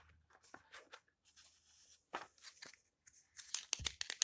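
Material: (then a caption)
Paper. Fingertips with long painted nails smooth and turn the yellowed paper pages of an open old hardcover book lying on a table, one page at a time. Bright, dry crinkles, soft rustles and brief papery crunches come in uneven bursts, growing louder and denser toward the end.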